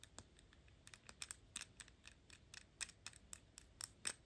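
Long pink nails scratch and tap the gold-tone metal horsebit cap on a dark glass perfume bottle. A quick, irregular series of sharp, bright clicks and ticks comes through, each dying almost instantly with little low end, between faint scratchy scraping.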